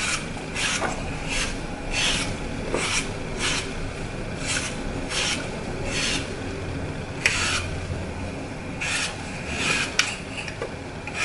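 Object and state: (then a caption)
Floral foam block being crushed. A hand-sized, solid block of green phenolic floral foam with a glittered Mickey Mouse picture on one face is held in one hand while the thumb and fingertips press into its edge, crushing and breaking it off, with crumbled green pieces lying beside it. Repeated bright, dry crunching and rasping bursts follow one another steadily over a low background hiss, with a couple of sharp snaps standing out.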